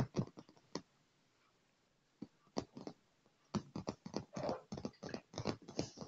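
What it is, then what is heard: Leather chair armrest. Fingertips and nails tap fast on a dark padded leather chair armrest and scratch across it. Bursts of quick, soft, muffled taps are broken by a short quiet pause, followed by a longer scratchy rub mid-way. The taps thud dully and die away almost at once.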